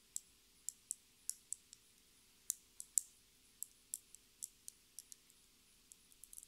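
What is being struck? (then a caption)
Small plastic lip gloss tube with a metal cap. Long red nails tap and scratch a small, clear plastic lip gloss tube filled with pink gloss and topped with a metallic cap. The result is quiet, crisp, high-pitched clicks at an irregular, unhurried pace, each dying away almost instantly, with almost no low end. The taps bunch closer together near the end.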